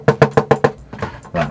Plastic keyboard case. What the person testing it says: there's absolutely nothing in the case. That's that hollow sound that you hear from the bottom of it.